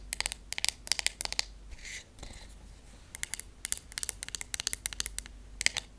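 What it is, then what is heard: Wooden hairbrush tapped with nails. Long acrylic nails tap on the wooden handle and back of a wooden hairbrush with wooden pins. Quick clusters of sharp, bright clicks are heard, each dying away instantly. A brief soft, hissy brushing sound fills a pause near the middle.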